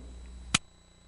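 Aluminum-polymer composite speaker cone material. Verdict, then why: Damped. A piece of aluminum-polymer composite speaker cone material is struck once, giving a single short, bright click that dies away almost instantly over a faint steady background hum. The composite sounds damped, with no lingering ring.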